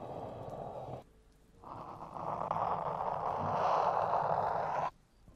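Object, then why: Rubber ear piece of a binaural microphone. Fingertips and short nails tap and scratch the black rubber/silicone ear pieces of a 3Dio binaural microphone with a metal body. The result is a soft, breathy rustling concentrated in the mid range. It fades briefly after the first second, then returns as a longer, louder, brighter scratch before cutting off.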